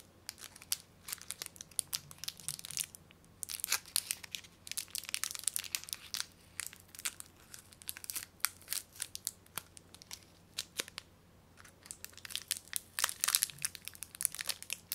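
A small wrapped Bounty chocolate bar is held in both hands while fingertips with long nails twist and crinkle its closed plastic wrapper. The result is a dense run of sharp, bright crackles and crinkling bursts, with brief quiet pauses. A faint low hum sits underneath throughout.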